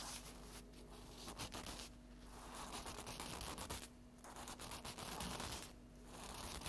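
A flat stack of paper napkins lying on a table is tapped and scratched across its top with long acrylic fingernail tips. Quick, uneven dry taps and papery scratching come in waves, with bright crackle and a faint low steady hum underneath.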